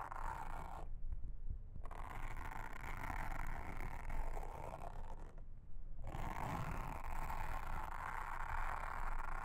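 A pink mascara spoolie brush, held in a hand with long red nails, brushes and scratches a round blue silicone trivet mat with a honeycomb texture that lies flat on a table. The result is a steady, dense, low rumbling scratch with a soft brushy hiss. The brighter brushing briefly drops out twice, around one second and five and a half seconds in.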